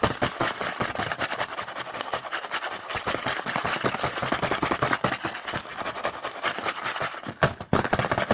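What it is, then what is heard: Cardboard snack box. A printed cardboard Hanuta snack box held in hand is tapped and scratched rapidly with fingertips on its front panel. The result is a dense, continuous stream of dry, crackly taps and scrapes, strongest in the mids and upper mids, with a brief quieter gap near the end.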